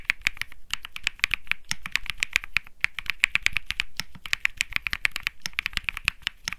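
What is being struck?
Mechanical keyboard with plastic keycaps.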